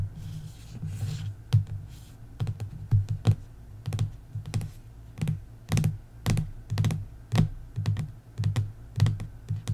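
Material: Cardboard.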